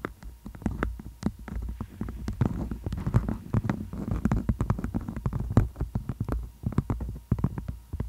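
Long acrylic nails tap and scratch a floral-print beeswax wrap, a thin waxed cotton sheet draped over a microphone like a tent. Rapid, uneven taps and rustling scratches come through close and muffled, with a heavy low-end thump and sharp, bright clicks at each nail strike.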